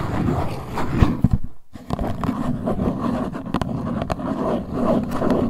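Long white nails scratch and tap the top and sides of a small printed LuLuLun Cleansing Balm cardboard box held in both hands. A steady, dense, low scratching rustle is broken by a few sharper, brief taps and a short quiet pause near the start.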